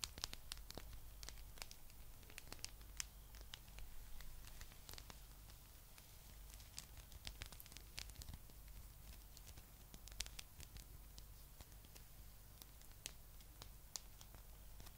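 Long nails scratch a blue, palm-sized spiky rubber massage ball, making quiet, dense, bright ticks and crackles over a steady low hum. The scratches are irregular, and the brief clicks stop at once with no ring.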